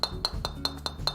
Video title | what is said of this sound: 한번만 쳐도 자동으로 지갑에서 50만원을 더 꺼내 구입하게 된다는 그 마성의 드라이버 시타해 봤습니다 / 바틱 드라이버 - 굿샷김프로 | 이런 소리가나요 둔탁한 소리가 아니라 / 경쾌한 소리가 나죠